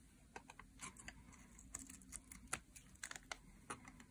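A thin metal blade is drawn across the surface of a solid green dry soap bar held in hands with long nails, shaving off curled strips. Quiet, irregular crisp scrapes and sharp little ticks sound bright over a soft low hiss, each dying away almost at once.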